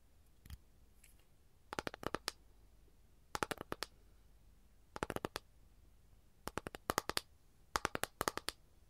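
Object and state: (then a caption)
Capiz shell tray. Long gold nails tap quickly on an empty, flat rectangular capiz shell tray, making crisp, bright clicks that die away almost instantly. After a single tap, the clicks come in five rapid bursts separated by short pauses.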